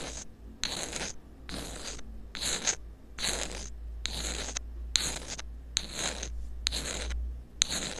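A thin metal pick scratches a small black rubber-coated inline earphone microphone that is taped down. It makes a series of dry, bright scratching strokes separated by short pauses, over a steady low hum.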